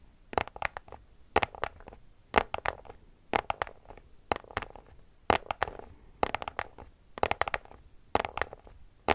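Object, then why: Small cardboard box tapped with fingernails. A small white cardboard product box is scratched and tapped with long nails. Short, dry, bright clicks and scrapes come in quick clusters about once a second. Each hit cuts off almost at once, with little low end.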